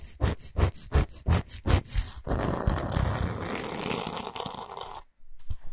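Long pointed nails scratch fast across a large, flat, solid pink Himalayan salt block. A run of quick, rhythmic rasping strokes gives way to a continuous gritty scraping that stops briefly and then resumes.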